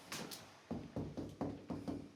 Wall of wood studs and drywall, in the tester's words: it's hollow. You can hear it.